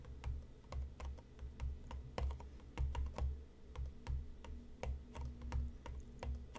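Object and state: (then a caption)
Cardboard tea box. Fingertips tap repeatedly on the top of a closed, hollow, medium-size printed cardboard tea box resting on a cutting mat. The taps land as soft, dull, low thumps with faint, bright clicks on top, in an uneven, quick rhythm. Each tap dies away almost at once.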